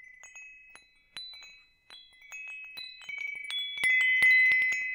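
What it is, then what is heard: Metal tube wind chime. A hanging wind chime with hollow metal tubes is held up and swayed so the tubes strike and ring. Bright, overlapping metallic tones centered near 2 kHz chime in irregularly, growing denser and louder toward the end as the rings linger and blend together.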